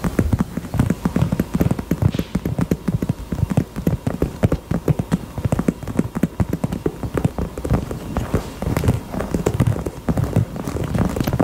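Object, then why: Heart-shaped purse. A pink heart-shaped purse is tapped with the fingers in quick, continuous runs of soft, dull taps. The sound is mostly low and muffled, and each tap dies away almost at once.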